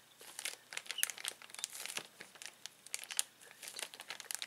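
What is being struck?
Plastic zip bag holding toys.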